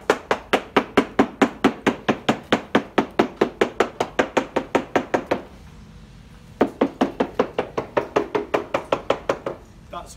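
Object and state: Sound fibreglass hull laminate, no delamination.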